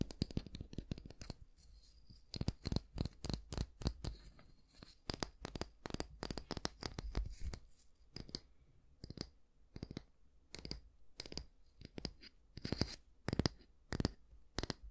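Fingernails scratch through the natural bristles of a small oval brush with a solid wooden back, held with the bristles facing up. Rapid, dry, crackly scratches come in dense bursts with short pauses between them. Each stroke is crisp and bright with a soft low thud underneath and no ringing after.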